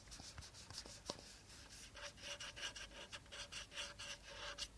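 Fingertips rub and scratch the body of a hollow, empty clear plastic bottle held upright with its teal cap at the bottom. A quick series of bright, dry scratching and rubbing strokes follows, with a faint hollow tone near 580 Hz ringing under the later strokes.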